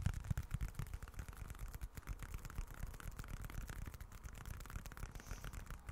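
Fingertips scratch the grained, leather-look surface of a small, dark, folded leather wallet. The result is a quiet, continuous run of rapid, uneven scratching strokes with dull, low-heavy thumps and very little brightness.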